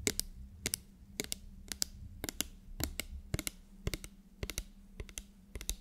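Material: Plastic.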